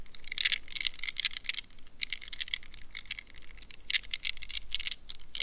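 Long nails scratch and squeeze a rubber mesh squishy stress ball wrapped in a net, held close. Rapid, dry, crackly scratching bursts follow one another, bright and hissy with almost no low end, each dying away instantly.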